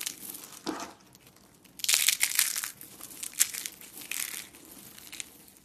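A hand with long painted nails crushes a thin, brittle, hollow coil of cream-colored dry soap, crumbling it into flakes over a pile of soap flakes on a wooden table. Bright, dry crunching and crinkling crackles come in quick bursts, loudest in the middle, with almost no low end and no ring after each snap.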